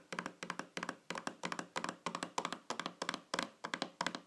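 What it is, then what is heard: Round metal tin lid. Long fingernails tap on top of a small, shiny, round metal tin lid lying flat on a table. The taps come in quick, irregular clusters with a bright metallic click and a brief tone near 1 kHz that dies away almost at once.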